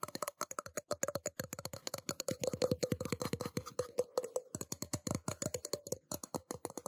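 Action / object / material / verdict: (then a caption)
tap / small stainless steel cup / stainless steel / none. A small, hollow, empty stainless steel tumbler cup, held in both hands near the microphone, is tapped quickly and steadily with fingertips and nails. Each tap is a short, dry click with a faint metallic tone around 500 Hz that dies away almost at once.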